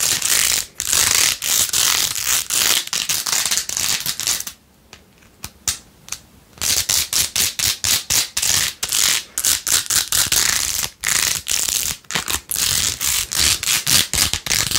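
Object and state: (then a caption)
Plastic phone case with faux-pearl beads. Long nails scratch and tap quickly across the pink faux-pearl beads covering a rose-gold plastic phone case with a phone inside. The result is a dense run of bright, crisp scratching and clicking with almost no low end, broken by a brief near-silent pause about a third of the way through before the fast scratching resumes.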